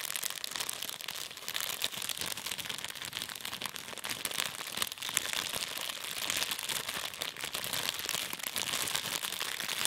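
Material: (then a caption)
Plastic. A small, thin, empty transparent plastic bag is held in both hands and crumpled and crinkled by the fingertips for the whole clip. The result is a dense, continuous stream of sharp, bright crackles with almost no low end, holding a fairly steady level throughout.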